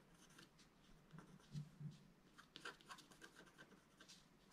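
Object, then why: Black-coated scratch-art card scratched with a wooden stylus. A wooden stylus scratches a flat black-coated scratch-art card, first at the top and then at the lower right. Soft, irregular scratching strokes come through, with low thumps around the middle and brighter scraping bursts toward the end.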